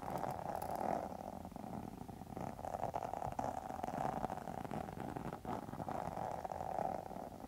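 Long metal nail tips scratch across a pink textured faux leather wallet held upright. The result is a steady, dense, raspy scratching with a mid-range tone around 750 Hz, swelling slightly in places over the quiet clip.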